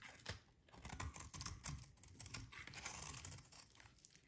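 A metal utility blade shaves long curls from a solid, dry, pink rectangular soap bar held in the hands. A quiet series of crisp, crinkly scrapes and snaps rises and falls, each stroke mixing a low thud with bright, dry rasping. The strokes come quickly with little ring between them.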